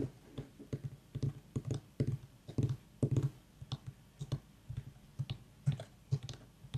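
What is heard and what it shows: A small, whole, white ribbed mini pumpkin with a long dry stem, a hollow gourd, is held and tapped and clicked with long fingernails while an aroma diffuser mists nearby. About two dozen quick, dull, hollow knocks sound, low and boxy around 137 Hz, with light clicky edges. Each knock dies away almost at once into a quiet background.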